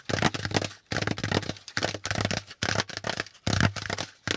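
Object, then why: Corrugated cardboard packaging insert. Fingertips tap quickly on a hollow, pleated brown corrugated cardboard packaging insert. Bursts of dense, crackly tapping arrive in separate clusters, each with a low hollow thump near 100 Hz under bright, papery clicks.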